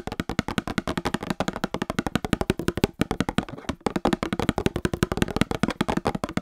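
A small Star Wars cardboard trading card box resting by the microphone is tapped rapidly with long painted nails. The result is a quick, steady stream of short, dry, hollow clicks with a low-mid cardboard body, pausing briefly near the middle before continuing.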